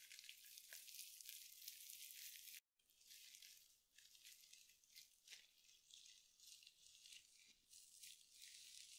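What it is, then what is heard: Glitter mesh scrub sponge, crinkly. A small, soft, hand-sized glitter mesh scrub sponge, wrapped in sparkly synthetic mesh, is squeezed and scratched with long nails and fingertips close to the microphone. It makes a steady, bright crinkly rattling, with a brief full silence about a quarter of the way in, almost no low end, and irregular scratchy accents throughout.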